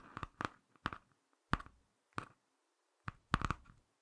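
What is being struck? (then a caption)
Laminated cardboard hardcover book. Fingertips and short nails scratch and tap the front cover of a small closed Ladybird hardcover picture book with a glossy laminated cardboard cover, held in both hands. Quiet, dry bursts of tapping and scratching come in irregular clusters separated by silence. Each burst has a soft low thump and a mid-range papery scrape that dies away almost instantly.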